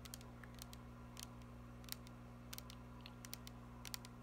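Long painted nails tap and scratch a tall, glittery teal plastic body mist spray bottle with a silver spray cap, which appears filled with liquid. Quiet, irregular, bright clicks and short scratches sound over a steady low hum, each dying away almost instantly.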